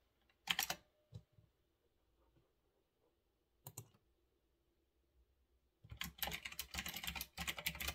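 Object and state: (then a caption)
Mechanical keyboard with round plastic keycaps. Fingertips type on a retro typewriter-style mechanical keyboard with round backlit plastic keycaps on a desk. A few sharp, bright clicks come first, separated by quiet pauses, then a fast, steady run of crisp clacking keystrokes fills the last couple of seconds.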